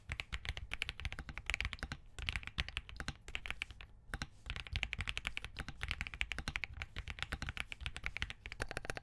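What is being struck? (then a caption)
Plastic mechanical keyboard. A compact mechanical keyboard with green and cream plastic keycaps on a POM plate in a hollow case is typed on repeatedly by fingertips. The result is a rapid, continuous stream of crisp, short key clicks with a deep, thocky low end and a bright upper edge, pausing briefly twice before resuming.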